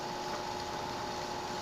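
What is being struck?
Nothing is struck.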